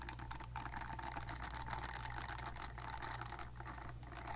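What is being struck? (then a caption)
Silicone facial cleansing brush. Long dark nails scratch and flick the nubs of a purple silicone facial cleansing brush pad held near the mic. The result is a steady stream of quick, dry scratching clicks with a bright crisp edge, layered over a constant low hum.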